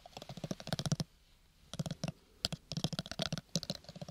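Fingertips and nails tap fast on the sides of a small, square, hollow cardboard gift box covered in purple textured paper. The bursts of rapid, dry clicking taps have a hollow low thump beneath bright ticks, with short pauses between them. Each tap dies away almost instantly.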